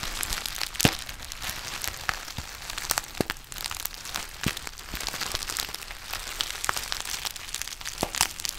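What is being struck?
Foil-lined plastic tea pouch.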